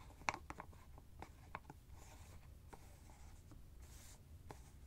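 Fingers twist and scratch the white plastic screw cap of a hollow teal fabric ice bag. Quiet, sharp plastic clicks and ticks come in an irregular run, with brief scraping rustles between them and a low background rumble.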